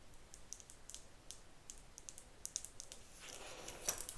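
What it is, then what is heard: Plastic wide-tooth comb. Long nails tap and flick the teeth and spine of a pale pink, hand-sized, solid plastic wide-tooth detangler comb held close. The result is a quiet, quick series of bright, dry clicks with very short ring, and a soft broadband rustle swells beneath the taps near the end.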